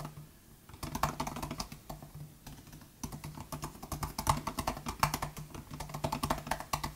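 Steady fingertip typing on the low-travel plastic butterfly keys of a 2018 MacBook Air laptop keyboard produces a fast run of short, light clicks. The bursts and pauses come with a faint low hum underneath, and each tap dies away almost instantly.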